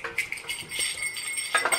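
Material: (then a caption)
Metal. A small metal jingle bell, a child's Christmas gift from Santa, is shaken, giving bright, high tinkling jingles in quick bursts. Though it is jokingly called broken, as in the story where only believers can hear the bell, it rings normally.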